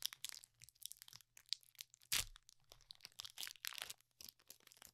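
Fingertips crinkle, fold and tear the foil wrapper of a small metallized plastic Pokemon Trick or Trade booster pack with cards inside. The result is dense, bright, crackly rustling in quick dry bursts, with a louder tearing crunch near the middle, over a faint low steady hum.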